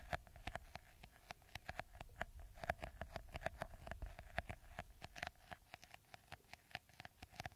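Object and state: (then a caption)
Plastic bottle with beaded top, tapped and scratched. Fingernails scratch and tap the green beaded top of a clear, hollow, hand-sized plastic bottle. The result is a quiet, rapid run of short, dry clicks with very little ring, each carrying a faint hollow tone around 690 Hz with a bright, crisp edge.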